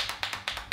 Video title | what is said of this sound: TESTING OUT NEW BEAUTY PRODUCTS: Hits & Misses | there's like a thing inside that actually shakes